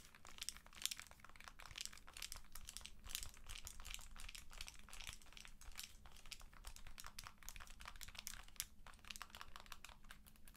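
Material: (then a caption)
Plastic. Long acrylic nails tap and scratch along the side edge and vents of a white and blue handheld game console in a hard plastic protective case. The result is a steady, dense stream of quick, bright clicks and crinkly scratches over a low, constant hum, lasting about ten seconds.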